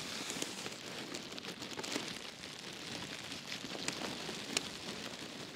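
Fingertips and nails scratch and press the soft surface of a large black foam pad resting in a box liner. The result is a steady, bright, crackly hiss, with a few sharp clicks standing out above it and almost no low end.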